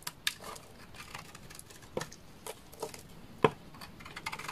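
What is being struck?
Bar of laundry soap.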